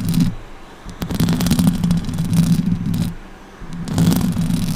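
Long orange nails scratch across the top of the hollow metal mesh grille on a silver Blue Yeti microphone and tap it. The result is dense, low, rumbling scratching in three swelling bursts, with sharp ticks and quieter gaps between them.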